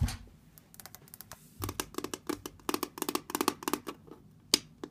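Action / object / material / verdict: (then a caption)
tap / brushed steel lamp base / steel / none. Long red nails and fingertips tap and scratch across a round brushed steel lamp base fitted with rocker switches and an outlet. A quick, uneven series of sharp, bright clicks comes through, with short scratchy scrapes between them, and each tap stops dead with no ring.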